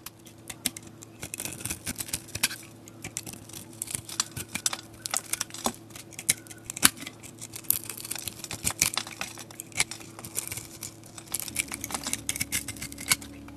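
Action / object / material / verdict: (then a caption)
scrape / soap bar coated in glitter and sequins / soap / none. A metal utility blade scrapes a solid soap bar coated in purple glitter and sequins, revealing light-blue soap underneath. Dense, crisp scratching and crackling clicks come in quick irregular bursts, bright and dry with almost no ring, over a faint steady low hum.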